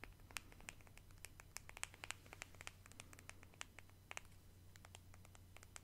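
Long decorated nails scratch and tap a small pale pink plastic cosmetic squeeze tube with a cap. Many quick, bright, dry clicks land over a soft scratching hiss and a steady low hum. The taps stop instantly, with no ring, and the whole sound stays quiet.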